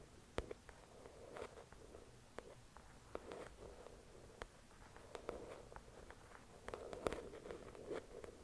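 Long acrylic nails tap and scratch the cover of a thick paperback novel resting on a white cloth. Sharp, dry taps stand out over a soft, papery scratching texture centered in the low mids, all at a quiet level with very short decay.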